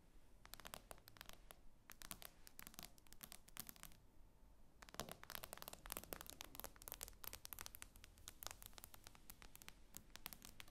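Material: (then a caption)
Glass. A fingernail taps and scratches on the solid glass screen of an iPad lying flat. Quick, sharp, bright clicks come in dense clusters, mixed with scratchy scraping. A brief pause occurs around the fourth second, over a quiet low background hum.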